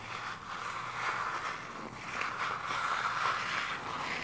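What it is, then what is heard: Cardboard eyeshadow palette. Long acrylic nails scratch and tap across a flat, hand-sized eyeshadow palette with a purple peacock-feather printed cardboard case, possibly hollow with pans inside, held in both hands. The result is a continuous, fairly quiet dry scratching rustle centered around 1 kHz with a faint bright hiss, swelling and easing unevenly throughout.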